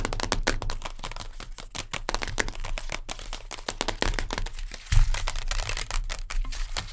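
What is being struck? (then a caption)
Sealed instant noodle cup, printed cardboard and plastic pot. Long nails rapidly tap and scratch a sealed Maggi instant noodle cup, a printed cardboard/plastic pot, working over its base, lid and side wall as it sits upright and then lies on its side. The sound is a dense stream of fast, dry clicks and scratchy, crinkly strokes with bright edges over a steady low rumble. Each tap dies away almost instantly, and a louder burst lands near the five-second mark.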